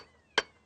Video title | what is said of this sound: Les 100 lieux qu'il faut voir Périgord Noir | on entend le son creux, là. Elle va casser, là. Elle va casser.